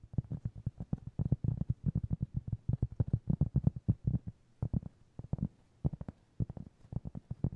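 Fingertips tap and scratch a round, flat, solid cork trivet about 20 cm across, held in both hands. Rapid, soft, dull thuds, low and muffled with almost no brightness, come in quick irregular bursts with brief pauses. Each tap dies away instantly without any ring.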